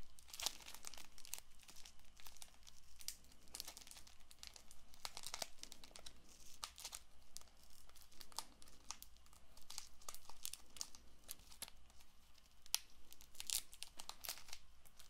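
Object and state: Cellophane-wrapped paperboard card box.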